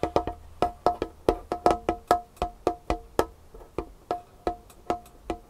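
Long nails tap a large, solid, varnished wooden tabletop in a quick irregular rhythm, about twenty sharp, dry knocks, each with a hollow woody ring near 450 Hz that dies out almost at once. Between the taps comes a soft, rough scratching of the nails across the surface, and the tapping carries on after it.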